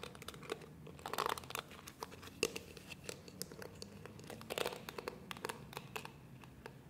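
Fingertips and nails scratch and rub the dense, flexible plastic bristles of a small, palm-sized pink and purple plastic detangling hairbrush with a hollow shell body. The result is a quiet, continuous crinkly scratching full of rapid, sharp, bright clicks and ticks. A few louder flurries stand out, with very little low-end weight.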